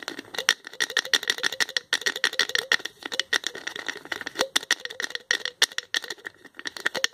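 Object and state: Plastic tube with flip cap.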